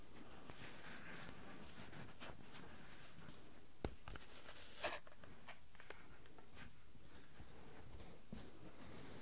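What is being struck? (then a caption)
Metal mesh microphone grille. Fingertips rub and tap directly on the small metal mesh microphone capsule grilles of a Tascam handheld recorder, so the microphone itself is being touched. The result is a quiet, low, rumbling handling noise with faint scratchy rubbing and a couple of sharper clicking taps.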